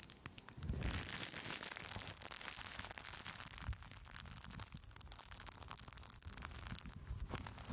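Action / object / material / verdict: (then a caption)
scrape / plastic bubble wrap / plastic / none. Green plastic bubble wrap wrapped around the top of a microphone is scratched and squeezed with long almond-shaped acrylic nails. A steady stream of bright crinkling, crackling and scratching runs throughout, with low thumps as the wrap is pressed against the mic.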